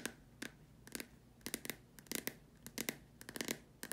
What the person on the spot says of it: This video includes me tapping on a plastic lamp shade.